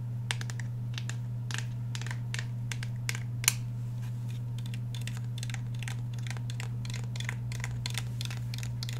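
Fingernails scratch and tap along the polymer frame of a black Glock 17 handgun with a steel slide, held in both hands. Quick, crisp, bright ticks and short scratches come in an irregular stream over a steady low hum. The taps stay soft, with a few slightly sharper clicks standing out.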